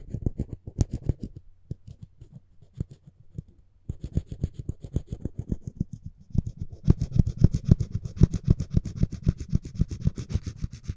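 A dental floss pick's string is rubbed back and forth across the edge of a solid, light wooden spoon handle. It makes quick, dry, low scratching strokes that thin out and soften in the first few seconds, then build into a denser, louder run with a bright hiss on top.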